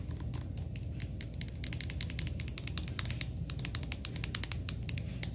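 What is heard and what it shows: Long painted nails and fingertips tap and scratch a medium-sized, full-looking red and gold Redken soft plastic cosmetic tube lying on a beige display tray, with the hand sliding along the tube. Quick, crisp clicking taps come in a dense, steady stream over a low, constant rumble.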